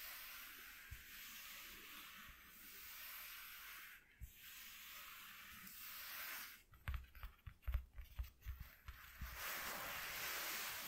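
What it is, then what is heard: Corrugated cardboard sheet. Fingertips with short nails rub and scratch a flat white corrugated cardboard piece lying on a dark cloth. A steady, bright, hissy rubbing runs for about six seconds with a brief pause near the middle. It breaks into a quick run of sharp, uneven scratches before the smooth rubbing returns.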